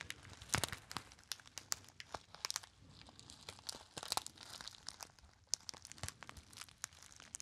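A small, hollow, apparently empty gold metallized foil pouch is crinkled and squeezed by fingertips. Dense, bright crackling and crinkling fills the clip, with sharp snapping peaks over a steady rustle.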